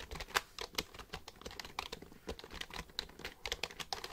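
Fingertips type on the keys of a black plastic computer keyboard held upright. The result is a quick, uneven run of short, bright plastic clicks and taps, each dying away almost instantly.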